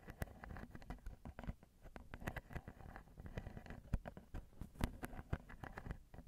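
Two long glittery nails tap and scratch the grilles of crossed silver metal X/Y microphone capsules, small and hollow, on a Zoom recorder. This makes a steady patter of quick, dull, boomy taps heavy in the low end, mixed with soft scratchy rustling. Each tap dies away almost at once.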